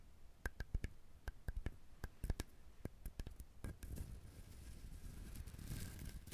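Fingernails tap and click on the shell of a whole brown husked coconut, making a quick, irregular series of short, dry clicks with a low thud beneath each. Near the end the clicks give way to a steadier, brighter scratching across the shell.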